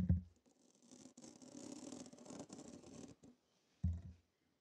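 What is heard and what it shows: Long nails scratch and tap a hollow, dome-shaped stainless steel wire mesh strainer with a steel rim and handle that sits over the mic. A low thump opens the clip, followed by a few seconds of dense, bright rasping scratches across the mesh, then a second deep tap near the end.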